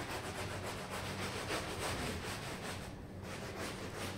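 A red plastic hand brush scrubs firmly across a small red patterned wool pile rug covered in soap foam, lying flat on tiles. The result is a steady, fast, wet rasping with broad hiss up into the highs and a low hum underneath, with a brief drop in the highs around the three-second mark before the scrubbing continues.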